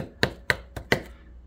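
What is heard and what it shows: A freshly microwave-sintered part, printed from aluminum filament and just out of the furnace, is tapped four times. Each tap gives a short, bright clink with a ringing tone near 2 kHz that dies away quickly. The part sounds metallic, suggesting it sintered into metal.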